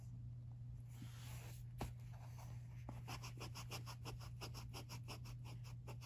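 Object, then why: Pencil on paper notebook page. A wooden pencil, held in a hand with long teal nails, writes on the thin paper pages of an open lined notebook lying on carpet. Soft, scratchy strokes give way to a quick run of short, bright scratches as the pencil moves across the page. A steady low hum sits underneath throughout.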